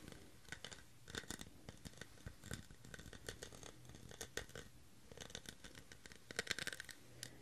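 Fingernails scratch and tap the textured pattern of a clear, ridged, hollow, empty plastic cup. The result is a quiet run of quick, dry clicks and scratchy rasps with a bright edge, each one dying away almost instantly.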